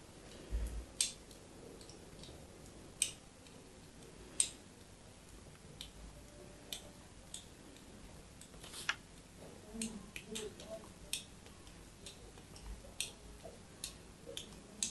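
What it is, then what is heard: Bar of soap being carved. A small metal knife scratches and carves the embossed surface of a solid white bar of soap held in the hand. Repeated short, quiet scraping strokes make crisp, bright ticks that stop almost instantly, over a faint low background hum.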